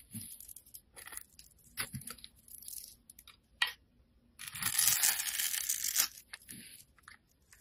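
A utility knife blade scrapes across the grid-scored surface of a solid blue bar of soap, carving it so small cubes and powder break off. Short, bright, crunchy scrapes and crackles come in irregular bursts, then build into one longer, louder sustained crunching scrape before tapering back into lighter scratches.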